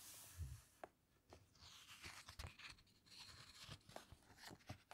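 Flat fingers press and squeeze the glossy pages of a large open hardcover book, then turn a page. The clip is quiet and close, with soft low thumps, crisp crinkling and rustling of the paper, and brief sharp crackles scattered throughout.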